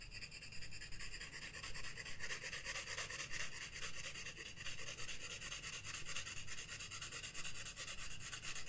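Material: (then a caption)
Paper. A graphite pencil rubs and scratches across a page of a flat spiral-bound paper sketchbook on a wooden desk while shading a moth drawing, the other hand resting still on the page. Steady, rapid back-and-forth strokes make a bright, papery scratching hiss with a faint squeak, over a low background rumble, continuing evenly throughout.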